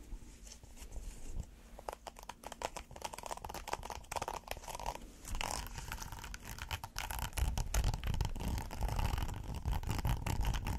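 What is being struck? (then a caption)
Textured silicone pot holder. Fingernails scratch the textured surface of a thin, flexible, flat red hexagonal silicone pot holder. The scratching comes as rapid, uneven strokes with soft, dull rubbing and crackly bright edges, and it grows louder and denser in the second half.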